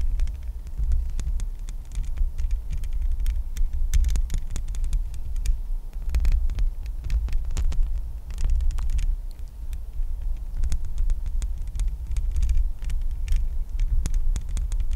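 Long painted nails of both hands tap and scratch across the bare, hollow metal mesh grille of a large condenser microphone. A steady, deep throbbing rumble fills the low end while rapid, dense patters of bright, short clicks and scrapes run continuously throughout.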